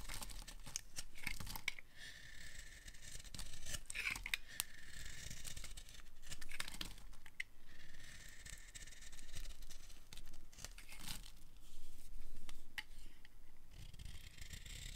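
A utility knife blade shaves the edge of a solid, dry, pale light green bar of soap held in the hand. The result is a steady run of crisp, dry scraping and crackling strokes that swell and fade, with a bright hiss concentrated around 2 kHz. The sound is quiet throughout, with no speech.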